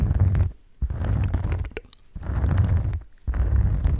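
A thin, flat oval cork board is held close to the microphone and scratched and rubbed with the fingertips. It gives dense, low, rumbling scratches in four bursts separated by short quiet gaps, with faint brighter crackles on top.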